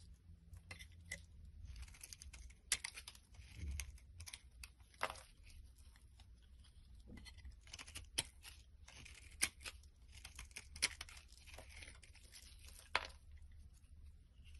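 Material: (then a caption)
Soap. A blade scrapes and cuts flakes from the top edge of a solid green bar of soap held in the palm. Dry, crisp scraping and crackling fills the high range in uneven strokes, with sharp clicks standing out, over a quiet low rumble.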